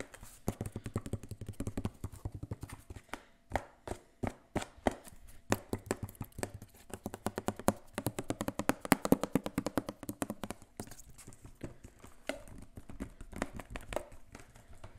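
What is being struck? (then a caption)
Plastic spray bottle. Fingertips tap the sides of a hollow, clear plastic spray bottle with a white trigger head and green label, held upright by the mic. The result is a long, uneven run of quick, dry, hollow taps with a low-mid body around 270 Hz. Each tap dies away almost instantly.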